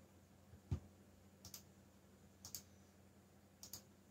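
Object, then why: Plastic mechanical keyboard. Fingertips type on a backlit mechanical keyboard with black plastic keycaps, producing short, sharp clicking keystrokes. The clicks come in quick pairs spaced about a second apart, each with a low thud and a bright top, over a quiet, steady hum.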